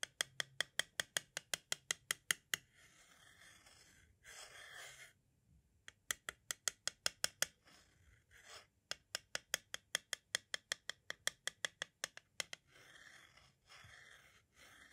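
A metal-tipped tool taps and scratches around the tape window and lower area of a white plastic audio cassette shell. About 43 quick, dry, bright clicks come in rapid runs with almost no ring, broken by short hissy scratching passages.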